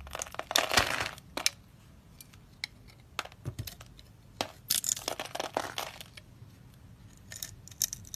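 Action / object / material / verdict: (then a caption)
scrape / bar of soap / soap / none. A utility knife blade scrapes and carves a palm-sized, orange-and-white striped dry soap bar held in the hand, shaving off small crumbly cubes. Sharp, bright crunches and scratchy scrapes come in quick bursts, loudest near the start and again around the middle, with quiet gaps between. The crisp clicks and crackles carry little low end and fade almost instantly.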